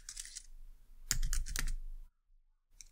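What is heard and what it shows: A white low-profile plastic computer keyboard is typed on by both hands with long dark nails in a short burst of keystrokes. Light, bright clicks run through the first second. A louder cluster of sharp taps over a low rumble follows before a brief silence, then a few soft clicks return.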